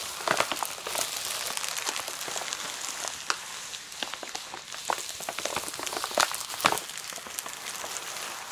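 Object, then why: Plastic bubble wrap. Long nails and fingertips tap and rub across clear plastic bubble wrap lying flat over a plush toy. The result is a steady, bright crinkling and rustling with a dense scatter of small clicks and a few sharper, louder taps, with no low rumble underneath.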